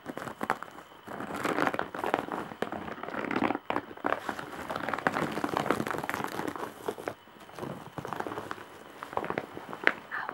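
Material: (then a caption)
Straw. Long, dark-painted nails scratch and press across the face of a large, flat woven straw/jute bag with embroidery. The result is a dense, continuous dry crinkling and scratching, mostly in the midrange with little low end. Sharp clicks punctuate it, and it briefly quiets in spots.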